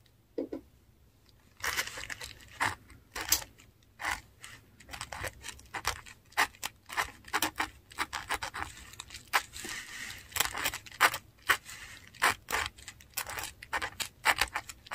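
A metal dip pen nib scratches across a flat sheet of textured Korean paper while writing Latin words. The sound is a steady run of short, dry, bright scratching strokes separated by brief quiet pauses, with almost no low end.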